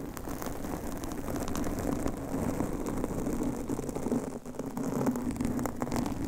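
Long manicured nails of both hands scratch and rub a large, rounded, soft and porous blue foam windscreen covering a microphone. The result is a dense, continuous crackling rustle, weighted toward the low and middle range with a faint steady tone. It stays at an even level throughout, with only a brief dip about two-thirds of the way through.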